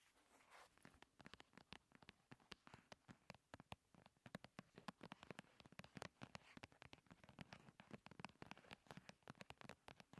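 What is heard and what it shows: Long red nails tap and scratch rapidly on top of a slim paperboard primer box lying on a table. A fast, irregular stream of short, dry, hollow clicks with brief scratchy brushing, each tap dying away almost instantly.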